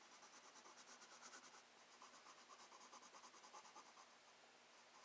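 A black wooden colored pencil tip scratches across a thin, flat page of a spiral-bound paper sketchbook in steady shading strokes. The sound is a quiet, rhythmic, papery scratching with bright hiss and a faint mid-range rasp, repeating in a loose back-and-forth pulse.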